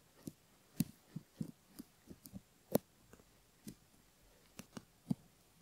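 A bamboo ear pick scratches the inner bowl of the outer ear, near the canal, on a silicone ear model. About eleven soft, low scratching strokes come at an irregular pace over quiet, faint background noise. Each is short and dull, with little brightness or ring.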